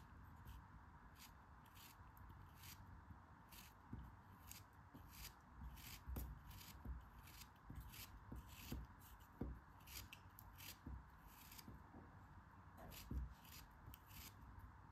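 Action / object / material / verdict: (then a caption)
scrape / kinetic sand block cut with a metal knife / kinetic sand / none. A solid molded block of yellow kinetic sand held in the hand is cut and scraped with a metal craft knife. Soft, crumbly scraping and gritty slicing are heard over a steady low hum. Short bright bursts from the blade accompany repeated small knocks.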